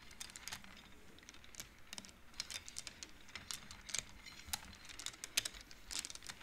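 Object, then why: Wooden abacus beads on metal rods. Fingertips slide colored wooden beads along the metal rods of a large wooden-framed abacus, making them clack together. The result is a rapid, irregular run of short, dry, bright clicks with almost no ring, spread over about six seconds of quiet background.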